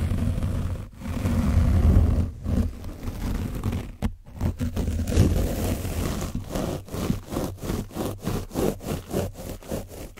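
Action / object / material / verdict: scrape / paint-coated foam microphone windscreen / foam / none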